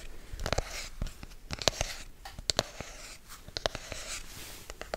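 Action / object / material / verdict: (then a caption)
tap / rigid cardboard box / cardboard / none. A hollow, black rigid cardboard product box is held in both hands and scratched and tapped with fingertips and nails. Soft, bright scratching runs underneath a string of short, sharp taps with a hollow ring near 625 Hz that dies away almost instantly.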